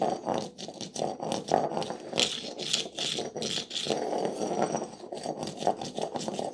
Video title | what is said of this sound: How To Patch Old Concrete | drawn over the surface listening for the hollow spot. It will sound obviously hollow.